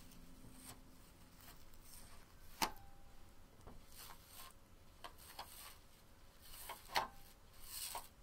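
A medium-sized, hollow, empty banded onyx stone bowl, uncovered and resting on a small woven rug, is tapped and touched on its rim and sides by long painted fingernails, and both hands hold the bowl still in the middle. Quiet rubbing is broken by sharp, bright clicks, two of them stronger, each leaving a short, faint ring around 850 Hz.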